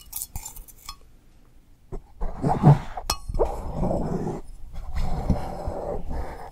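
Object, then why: Ceramic mug. Long nails tap the outside of an empty, hollow pink glazed ceramic coffee mug held upside down and sideways. The result is a run of light clinks and dull taps with a short ring that fades quickly, underneath a soft, low rustle.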